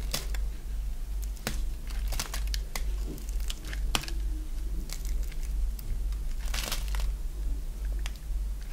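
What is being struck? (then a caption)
Bar of dry soap. A solid oval bar of dry white soap, held in the hand, is shaved into curls with a box-cutter blade. Irregular, bright, crinkly scraping and cutting strokes crackle over a steady low hum.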